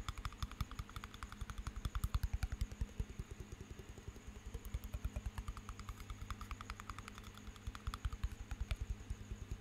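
A small glass jar partly filled with water, with a metal lid, is held beside the microphone and tapped with the fingertips and nails. About fifty quick, irregular taps, each a short, dull, low thump with a bright click on top, fall over a steady low hum near 59 Hz.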